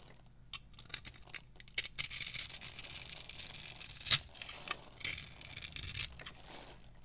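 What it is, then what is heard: Dry bar soap being carved. A small metal knife repeatedly carves and scrapes thin strips off a solid, palm-sized, pale yellow bar of dry soap held in one hand with long purple nails. The sound is bright, crunchy cutting and scraping in short dry bursts and longer rasping strokes, with one sharper, louder crack about midway through.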